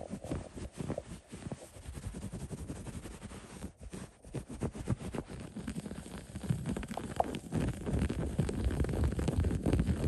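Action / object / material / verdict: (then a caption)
scrape / woven cotton blanket / cotton / none. Fingertips and short nails scratch and rub across the textured weave of a soft, thick, loosely woven white cotton blanket lying bunched on a surface. A dense, muffled, low-heavy rustling and scratching continues throughout with little brightness, growing louder and busier toward the end.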